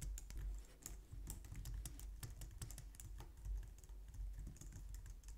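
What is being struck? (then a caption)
Plastic computer keyboard. Both hands type quickly on a white plastic low-profile wireless keyboard with long nails and fingertips. The result is a steady stream of soft, bright clicking taps over a low, constant hum.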